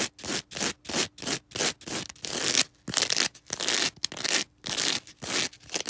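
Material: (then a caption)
Foam. Long red acrylic nails scratch and rub a small star-shaped green foam sponge with a sparkly porous surface, held in the hands. A quick, uneven series of dry, bright scratchy bursts comes in short strokes, with a few longer rubs between them.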